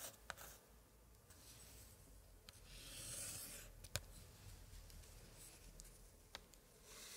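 A thin pointer, held in a white-gloved hand, is dragged and tapped across a page of a large, open antique scrapbook with thick paper pages and pasted card prints. The same spread stays open throughout. Soft, dry scratching and rubbing on the paper is broken by several short, sharp taps, with brighter bursts of friction in between.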